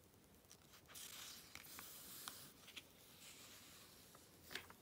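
Fingertips with long red nails rub across and flip the glossy paper pages of an open Vogue magazine, the Activism Now issue, lying on black fabric. The result is a quiet, bright, papery hiss and rustle broken by short, crisp ticks and snaps as the pages turn.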